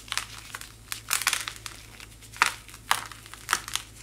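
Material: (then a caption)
Chalk. A small solid white chalk-like block is held in one hand and crushed and crumbled by fingertips with long white-painted nails, with fine powder falling from the hand. Dry, bright crunching and crinkling bursts come in irregular clusters, each snapping off quickly over a faint steady low hum.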